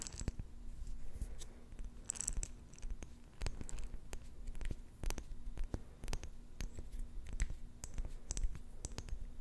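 Fingertips and long nails rub and tap a small round clear glass jar with a silver metal lid, filled with pink plastic beads. Quick, sharp clicks and taps with a bright edge ring off the glass almost instantly, mixed with scratchy rubbing, over a steady low hum.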